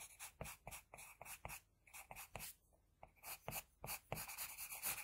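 The graphite tip of an HB wooden pencil, held in the fingers, is drawn across a flat sheet of drawing paper lying on a surface. Quick, bright scratchy strokes come in bursts, with a short quiet pause in the middle before the strokes resume, growing denser and louder toward the end.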